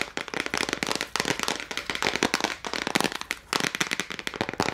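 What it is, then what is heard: Plastic case of gel crayons. A small clear plastic case full of gel crayons, held in both hands, is tapped rapidly with long nails. The result is a dense stream of sharp, bright clicks with little low end, coming in quick bursts with a couple of brief pauses.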